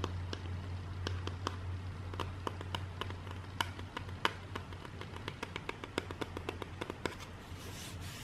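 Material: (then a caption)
Cardboard. A flat, rigid grey cardboard box lid, about the size of a book, is held in the hands and tapped and scratched with long dark nails. Quick, dry, sharp clicks with almost no ring come in an uneven stream over a steady low hum, ending in a brighter, hissing scratch.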